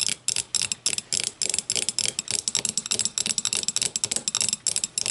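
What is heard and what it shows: Long matte nails scratch and tap the sides of a small, empty, clear glass whiskey tumbler turned upside down on a wooden table. A rapid, steady run of crisp, bright clicks and scratchy strokes, with almost no low end, each tap dying away almost instantly.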